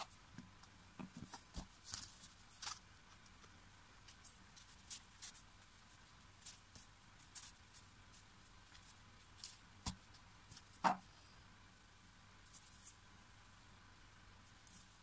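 A handful of blue kinetic sand, a soft, solid, granular material, is squeezed, rubbed and crumbled between bare hands and fingertips. Quiet, scattered crackles and short, bright clicks rise over a low, steady background hiss. One sharper, louder click stands out near the eleven-second mark.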